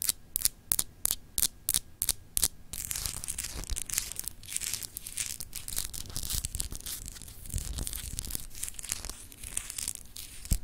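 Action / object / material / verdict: scrape / solid glass globe paperweight / glass / none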